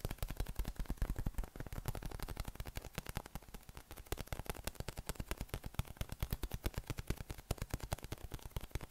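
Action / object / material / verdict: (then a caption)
tap / hollow inflated PVC spiky massage ball / PVC / none. A yellow, hollow, inflated PVC spiky massage ball with nubs is held in the hands and tapped rapidly with the thumb and fingers. It produces a quick, steady stream of soft, low, hollow thumps that die away almost instantly, with a faint bright clatter on top.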